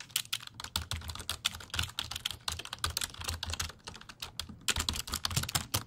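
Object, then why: Plastic computer keyboard. A black plastic full-size computer keyboard with a hollow body is held up close and typed and tapped on its keys with fingertips. It produces a rapid, uneven stream of dry, bright key clicks peaking around 3.4 kHz, with a soft hollow thump beneath. Each click dies away almost instantly.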